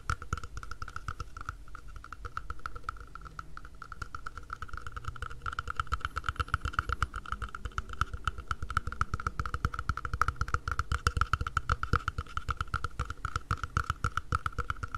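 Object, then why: Plastic cup. Quick fingertips tap the walls and base of an empty, hollow mint-green plastic cup held upside down and sideways. The result is a rapid, continuous patter of short, dry clicks with a hollow low thump and a steady ringing tone around 1.3 kHz, growing slightly louder over the clip.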